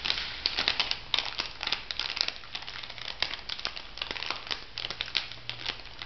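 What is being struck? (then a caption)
Plastic foil cosmetic sachet. An orange plastic foil cosmetic sachet is crinkled and flexed by fingertips with long nails. The result is a steady, bright, crackling crinkle, with dense clusters of sharp little snaps that die away almost instantly over a faint low hum.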